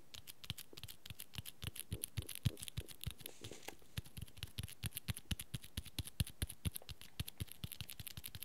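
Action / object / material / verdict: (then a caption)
tap / cloth-bound hardcover book / cloth, board / none. Fingertips and nails rapidly tap and scratch the dark red fabric cover of a small, solid cloth-bound hardcover book with cream pages. The steady run of quick, dry taps each carries a soft low thump with a bright clicky edge, dying out almost instantly. A brief stretch of fainter scratchy rustle sits between the taps about midway through.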